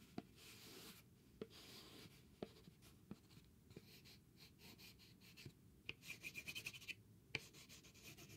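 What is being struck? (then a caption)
Thin cardboard sheet. A small, thin, flat grey cardboard sheet covered in chalk scribbles is held in the hand while its surface is scratched and rubbed. Soft, dry, hissy rubbing runs throughout, punctuated by sharp, brief clicks. Near the end comes a quick run of bright, scratchy strokes.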